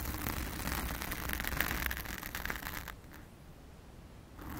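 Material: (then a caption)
Foam. Long acrylic nails of both hands scratch a blue foam cover on a round studio microphone. The result is a dense, close, crackly scratching and rustling with a heavy low rumble and bright, hissy texture. It eases to a quieter patch near the end before the scratching picks up again.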